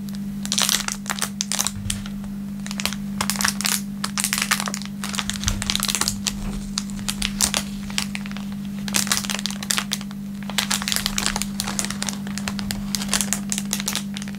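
An empty, thin, clear plastic film packaging bag with a printed label, lying flat on a wooden table, is held and crinkled between the fingertips of both hands. Bursts of bright, sharp crackling come in clustered waves with brief quieter gaps, over a steady low hum.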